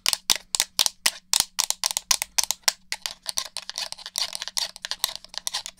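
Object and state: Plastic game controller.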